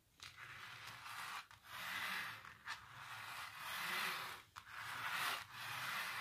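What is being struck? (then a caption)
Textured painted canvas. Long nails and fingertips scratch and rub across a large textured painted canvas. The sound is a dry, raspy scraping in several long sweeping strokes separated by brief pauses. It is bright and hissy, with little low end.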